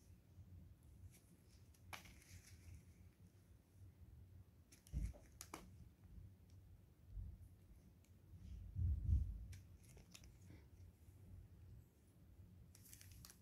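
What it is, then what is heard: Glycerin soap bar being cut. A solid translucent blue glycerin soap bar, held in gloved hands, is sliced and shaved along its edge with a craft knife blade. Soft, dry scraping and cutting strokes come in an uneven rhythm over a quiet low rumble, with a few brief bright clicks. A louder, fuller scrape swells near the end.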